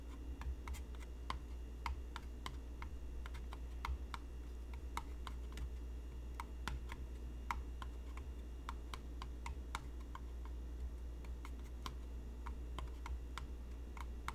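A hollow, apparently empty, medium white cardboard or papier-mâché box is held close in both hands and tapped on its side wall with fingertips and short nails. The result is a steady stream of quick, light, clicky taps with bright edges, heard over a constant low hum.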